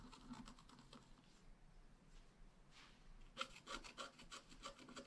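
A long wooden stylus scratches fine lines into the bicycle area at the center of a flat black wax-coated scratch art card, while the other hand holds the card. Quiet, dry, rasping strokes repeat in quick, uneven succession with no ring. After a softer stretch, a run of sharper, brighter scratches follows.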